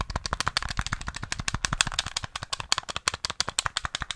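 Fingertips and nails quickly tap the buttons and casing of a small, hollow, grey plastic SNES gamepad held close to the mic. The result is a fast, steady run of dozens of sharp, dry clicks. Each click is bright and hollow, with very little ring, centered around 3.4 kHz.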